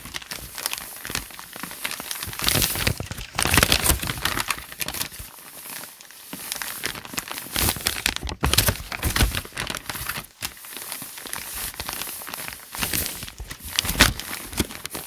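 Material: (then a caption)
Paper. Fingertips rub, scratch and lift the handwritten paper pages of a thick notebook lying open, making them crinkle. Dense, bright crinkling and scratching rises and falls in irregular bursts, with louder swells and brief quieter gaps throughout.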